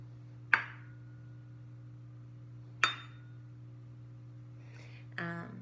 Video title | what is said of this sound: Classical Conversations Science Experiment Cycle 2 Week 13 | you can hear the vibration it sounds like a bell